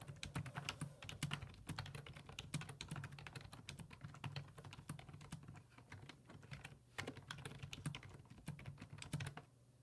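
Fingertips type on the hollow plastic keys of a black plastic full-size computer keyboard resting on a wooden desk, making a quick run of short, dry clicks and taps with bright edges. A steady low hum sits under the typing, which pauses briefly near the middle, resumes, then trails off softly at the end.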